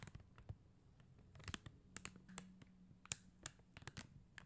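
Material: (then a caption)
Acrylic. Long teal acrylic nails tap across a flat acrylic rhinestone sticker sheet, its clear and blue faceted plastic gem stickers set on white paper backing. A quiet, uneven run of short, sharp, bright clicks sounds over a faint low hum and soft scratchy rustling, each tick dying away almost instantly.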